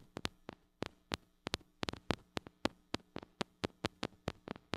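Long acrylic nails tap the metal mesh grille of a small gold-colored mini microphone with a metal body and hollow head, held in one hand. About twenty sharp, dry, bright clicks come in an uneven rhythm, some in quick pairs. Each dies away almost instantly over a faint low hum.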